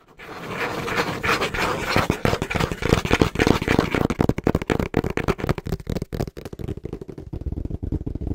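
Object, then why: Corrugated cardboard box. Fingertips and short nails tap fast and rhythmically on the flat face of a small, hollow brown corrugated cardboard box held in both hands, its contents not visible. The taps are dry and papery, with a hollow low body around 445 Hz and little ring. They run in a dense, uneven stream that grows more spaced and separated toward the end.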